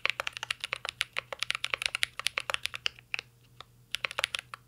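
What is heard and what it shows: A full-size CYBERBOARD R3 mechanical keyboard with an aluminum case, plastic keycaps and Holy Panda switches is typed on by the fingertips of both hands. Rapid, bright clacky keystrokes come in a steady stream, thinning out with a brief pause near the end before resuming. Each tap is short and crisp with almost no ring and little low end.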